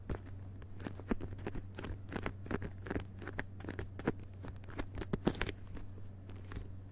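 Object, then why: Hardcover book with paper dust jacket. Fingertips of both hands rapidly tap the glossy paper dust jacket of a solid hardcover book lying flat on carpet. The result is a quick, uneven patter of soft, dull, short taps with a faint papery crinkle, over a steady low hum.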